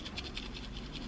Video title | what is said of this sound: Lush 2020 Advent Calendar 12 Days Of Christmas Unboxing - A Little Obsessed | if you shake this you can like hear yes you can you can hear stuff inside